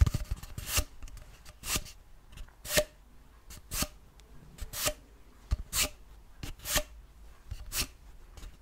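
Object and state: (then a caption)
Cardboard paper tube. Fingertips and short nails tap and rub a long, hollow grey cardboard tube, held horizontally and then upright. Bright, dry, scratchy strokes come about once a second with a low hollow thump under each. Quieter brushing fills the gaps, and each stroke stops with almost no ring.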